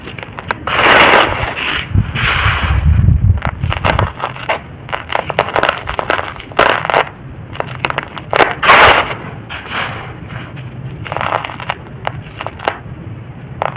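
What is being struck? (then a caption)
Pile of soil. Bare fingertips rake, pinch and crumble a large loose pile of dry, crumbly red-brown soil on the floor, letting the grains trickle down. Dense, dry crackling and crunching come in rapid bursts, with bright gritty hiss and a low rumble near the start.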